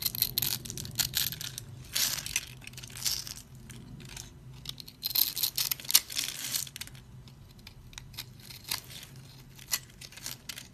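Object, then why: Bar of soap. A utility blade scrapes and crushes the scored surface of a dry, solid orange and white striped soap bar held in the hand, breaking it into crumbs. Dense bursts of bright, crackly crunching and scraping come in uneven waves, with a few sharper snaps standing out, then thin to quieter crumbly scratches toward the end.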